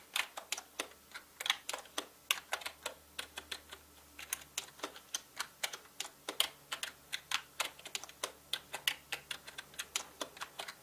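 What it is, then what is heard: Plastic mechanical keyboard. Fingertips of both hands type on a full-size black plastic mechanical gaming keyboard with plastic keycaps. The result is a steady run of about 50 short, bright, clicky keystrokes that stop dead with almost no ring, over a faint low hum.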